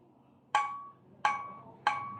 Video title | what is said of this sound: Maingay na HUBS magkaiba tunog - HASSNS PRO 7 HUB #tunogmayaman | mas matining to kasi mas maiksi ang rayos